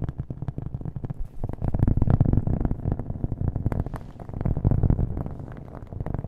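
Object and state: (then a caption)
Cork coaster. A round, flat cork coaster held close to the mic is tapped rapidly and lightly scratched with fingernails, with an echo effect on the audio. The result is a dense stream of soft, muffled, boomy taps, almost all low in pitch with no bright edge, swelling louder twice before easing off.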